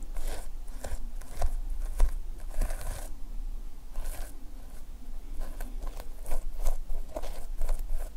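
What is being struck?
Plastic sequin fabric notepad cover.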